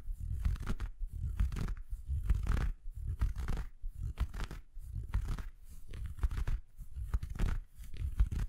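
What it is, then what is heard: Felt Christmas stocking being scratched. Fingertips scratch close to the microphone on an empty red felt Christmas stocking with a white plush cuff. The scratching comes in irregular bursts of soft, muffled rustling, heavy in low rumble with faint brighter fabric scrapes. Brief pauses separate the bursts.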